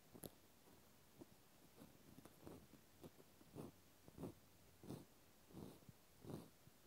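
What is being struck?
Plastic clothespin.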